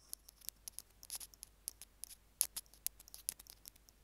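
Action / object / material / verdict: scrape / small plastic earphone mic remote / plastic / none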